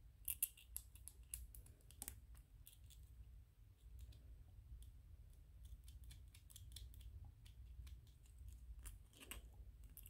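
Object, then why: Small 3D-printed PLA plastic ghost toy. A small white 3D-printed PLA plastic ghost toy is held in the hands while fingernails scratch and tap on it. The sound is a quiet run of sharp, dry plastic clicks and ticks with bright high-frequency edges and soft scratchy rubbing between them, over a steady low rumble.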